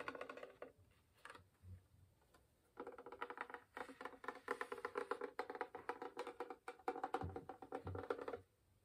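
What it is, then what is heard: Wooden violin back, hollow body. Fingernails and fingertips tap on a hollow wooden violin, first on its front and then on its varnished maple back. Quick, dry woody knocks with a hollow tone around 470 Hz die away almost at once, coming in short bursts at first and then as a fast, steady run of tapping that stops just before the end.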